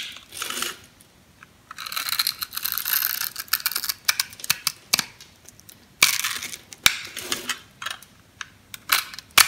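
A metal knife blade scores and scrapes the surface of a solid pink oval bar of soap held in the hand, cutting it into a fine grid. Dry, bright scraping strokes alternate with short bursts of crisp, sharp ticks and crackles, with almost no low end.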